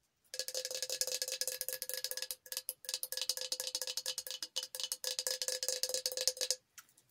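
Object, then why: Coated stainless steel tumbler. Long acrylic nails tap rapidly on a tall, hollow Hello Kitty tumbler, apparently stainless steel with a painted coating and a glitter base, held upright in both hands. The quick, bright metallic taps ring like a cowbell, with a steady tone near 500 Hz under a high shimmer. They come in bursts with brief pauses and stop near the end.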